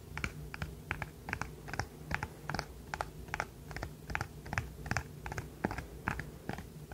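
A rainbow silicone pop-it fidget toy, held close to the microphone, has its bubbles pressed and popped with the fingertips and is squeezed in the hand. Short, soft popping clicks come at an uneven pace of a little over one per second, each dying away almost instantly, over a steady low hum.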